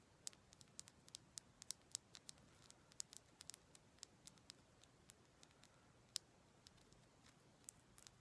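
Long black acrylic nails tap and scratch a raw, solid, palm-sized chunk of pale pink rose quartz. The result is a quiet, irregular patter of very short, bright clicks that stop instantly, with a faint scratching hiss between them.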